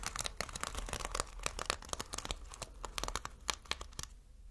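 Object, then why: Sequin fabric. Fingertips brush and scratch across multicolored reversible sequin fabric seen close up, flipping the sequins. The result is a dense run of quick, crisp clicks and rustling ticks, bright and dry over a faint low hum, that stop shortly after four seconds.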